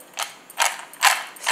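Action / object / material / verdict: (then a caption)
scrape / honey-coated roasted cashew nuts on a plate / cashew nuts / crisp. Cooled honey-coated roasted cashews on a plate are moved around, giving four separate bursts of dry, brittle crackling that are bright and high with nothing in the low end. Each burst fades within about a tenth of a second, showing that the cashews are crisp and crunchy.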